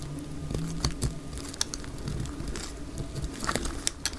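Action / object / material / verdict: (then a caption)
scrape / bar of soap shaved with a knife blade / soap / none. A dry orange bar of soap, held in the hand, is shaved along its edges with a utility knife blade, and the flakes fall onto a grey cloth. Quick, dry scraping and crackly ticks come in uneven bursts, with sharper bright clicks standing out over a steady low hum.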